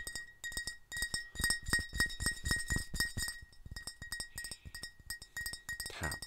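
A glass bottle of Crazy Water is tapped in a rapid, uneven series, producing bright glassy clinks with a sustained ringing tone near 1.9 kHz. Each tap has a soft low thud beneath it and a short ring.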